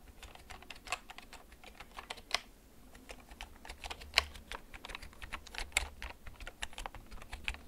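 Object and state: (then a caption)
Plastic mechanical keyboard. Fingertips slowly press the keys of a black plastic backlit mechanical gaming keyboard. Each keystroke is a short, bright click with almost no ring, and a few strokes land noticeably louder than the rest. A faint low hum sits underneath throughout.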